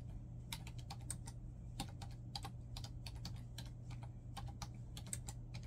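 Fingertips type rapidly on a black plastic laptop keyboard, producing quick, bright key presses and taps with short, dry clicks. A steady low hum runs underneath throughout.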